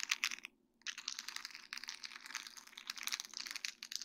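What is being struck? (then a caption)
Sheet of small acrylic rhinestones on plastic mesh. Long dark-painted nails tap and scratch a flat sheet of small faceted acrylic rhinestones on a plastic mesh backing. The result is a dense run of quick, bright clicks and crisp scratching, with a short silent pause near the start before the clicking picks up again and continues to the end.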